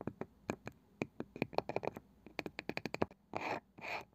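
A wooden object is tapped with a run of short, dry, sharp taps, some in quick rhythmic clusters. It ends with two longer rough scratching strokes that sound hissy and bright.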